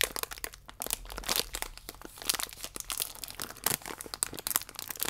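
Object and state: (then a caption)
Plastic biscuit wrapper crinkled. A thin plastic biscuit wrapper is held vertically while fingernails scratch it and fingertips crinkle the film. The result is a dense run of sharp, bright crinkles and crackles with quick scratchy bursts and almost no low end. Each snap stops instantly with no ring.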